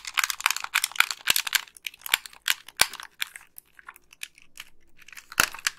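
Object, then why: Plastic game controller. Long pink nails click the colored buttons and tap the shell of a white, hollow plastic wired game controller. Dense bursts of bright, dry clicks and crisp taps come in quick clusters with very little low end. Each one stops almost at once, with sparser ticks between louder snaps.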